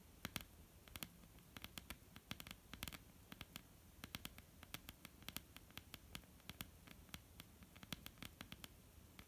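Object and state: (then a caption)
Wooden tabletop. A flat, solid wooden tabletop is tapped with the long, almond-shaped painted nails of both hands, giving quiet, rapid, irregular clicks. The clicks are sharp and bright with almost no ring and a faint low hum beneath them.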